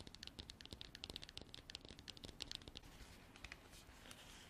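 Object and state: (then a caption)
Hard plastic container tapped and scratched with nails. Long black artificial nails tap and scratch the sides of a hand-sized, hollow, apparently empty container made of textured white frosted hard plastic. A quick run of sharp, bright, dry clicks with almost no ring gives way to a softer, continuous scratchy rasp near the end.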